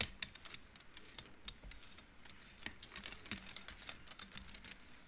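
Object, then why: Wooden abacus beads on rods. Fingertips push painted wooden beads along the rods of an upright wooden-frame abacus so they knock together. The result is a quiet, irregular run of many short, bright clicks that die away almost instantly, with little low end beneath them.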